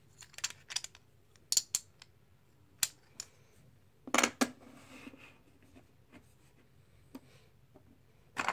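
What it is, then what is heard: Plastic poker chips clicking. Small solid plastic poker chips in a white tray are picked up, stacked and riffled by fingertips and long nails, clicking together. Sharp, bright clicks come in irregular clusters, with a brief scraping shuffle in the middle and a louder rattle at the end, over a quiet background.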